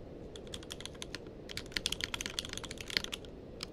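Fingertips of both hands type continuously on a tenkeyless mechanical keyboard with plastic keycaps. The result is a rapid, uneven stream of short, bright clacks that die away almost instantly, over a steady low background hiss.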